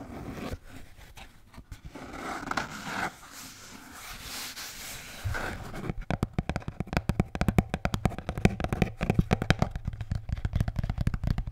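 A blue Bintang beer can holder is scratched with soft, rasping strokes for about six seconds. It is then tapped in quick, dull bursts. The taps are low-heavy and die away almost instantly.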